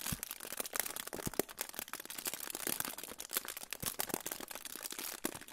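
A crinkled silver aluminium foil pouch is held in front of the microphone and crinkled and rubbed with fingertips. It makes a continuous, bright crackling rustle with a few sharper, louder crackles scattered throughout.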